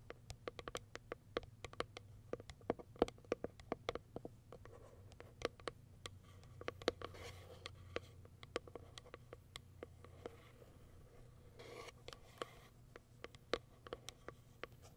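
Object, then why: Small printed cardboard box. Long white acrylic nails tap and scratch the top of a small white printed Kiara Sky cardboard product box. Rapid, quiet, dry clicking taps with almost no ring come over a faint low hum, with brief bright scratching bursts around 7 and 12 seconds.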